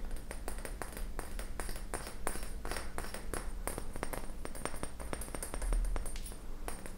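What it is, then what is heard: Glass laboratory flask. An empty, round, clear glass laboratory flask with a long neck, hollow and hand-sized, is held in the hands and tapped and pinged with fingernails. A rapid, uneven run of short, bright clicks and pings follows one after another, each fading quickly over a steady low hum.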